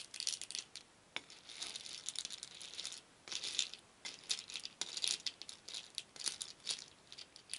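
A wooden spoon stirs a shallow wooden bowl full of many small painted wooden beads, so they clatter against each other and the bowl. The result is dense, bright, rattling bursts with almost no low end, separated by brief quiet pauses between strokes.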